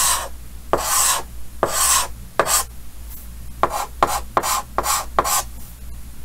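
Yellow chalk held in the fingers scratches hatching lines across a large, flat, solid painted chalkboard with a green frame. The strokes come as dry, raspy scrapes, with a few longer drags at first, then quicker, shorter strokes. They have a bright, hissy edge and a faint squeaky tone near 1 kHz, with quiet pauses between them.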